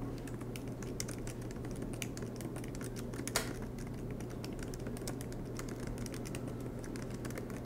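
Fingertips tap steadily on the black plastic keys of an aluminum MacBook Pro laptop keyboard, making short, bright clicks over a low, constant hum. One slightly louder clack stands out about midway through.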